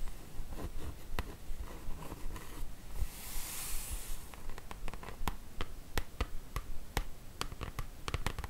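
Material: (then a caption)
Cardboard. Long acrylic nails tap and scratch across the glossy top of a large printed cardboard slipcase box that holds the Harry Potter book set, full of books and lying on a table. About nineteen quick, dry taps click out at an uneven pace over a low, muffled rumble. Around the middle comes a longer, bright hissing scratch across the surface.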